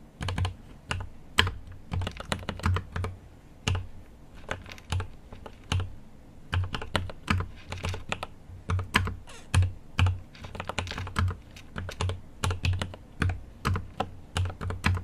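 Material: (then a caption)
Plastic. A GMMK Pro mechanical keyboard with an aluminum case and plastic keycaps is typed continuously with the fingertips of both hands. The result is a rapid, uneven stream of short, dry taps, each with a deep, thocky low thump and a brief bright click, with key bursts rising and falling in loudness.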